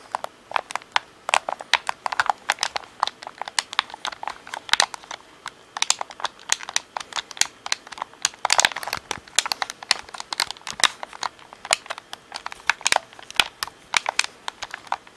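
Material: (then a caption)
Plastic. Fingertips tap and click the triggers and hollow shell of a black plastic Xbox controller, seen from the top and back. Rapid, irregular streams of sharp, dry clicks and taps have a bright, crisp edge, no low end, and almost no ring.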